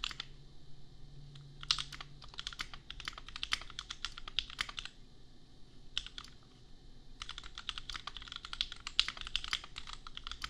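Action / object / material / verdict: tap / plastic mechanical keyboard / plastic / none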